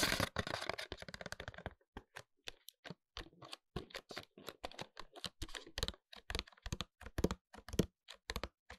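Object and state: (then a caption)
Cardboard product box with a bottle inside. A small upright paperboard product box with a clear window, holding a closed, full glass-look hair oil bottle, is tapped with fingertips and short nails. A fast, dense flurry of dry, crisp taps opens the clip, then settles into quick, irregular clicks and soft knocks. Each tap is short and dead, with bright edges and no ring.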